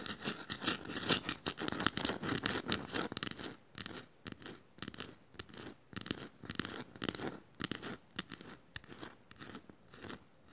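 A small, shallow, hollow woven bamboo or wood bowl is held in the hands and scratched with long matte nails across its woven strips. Dense, bright, crackly scratching fills the first few seconds. It then breaks into quieter, separate raspy strokes at about two per second, each dying away instantly with no ring.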